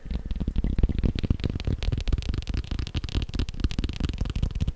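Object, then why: Leather belt. A leather belt is tapped quickly, making a rapid, somewhat uneven stream of dull, low thumps. Each tap dies away almost at once, leaving a dense, muffled patter with little high-frequency content.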